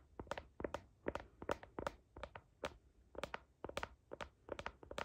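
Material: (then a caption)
Plastic. Long nails scratch across the back of a phone in a blue heart-patterned plastic case, near the camera. The result is a rapid, uneven series of short, bright plastic clicks and scrapes with almost no ring, over faint background hiss.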